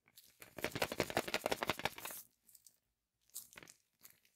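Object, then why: Chocolate egg in aluminium foil wrapper. A large, hollow, unopened Kinder Surprise Maxi chocolate egg wrapped in printed aluminium foil is held in both hands while fingertips and nails rub and scratch the foil wrapper. A dense run of bright, crisp crinkling fills the first two seconds. Brief, quieter scratchy crinkles follow, separated by short silences.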